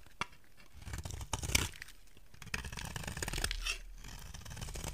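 A solid rectangular white soap bar is scraped with a utility knife blade, shaving off flakes. Dry, crunchy scraping strokes with a tearing texture mix a low rumble with bright hiss and sharp clicks. There is a brief pause partway through the stroke.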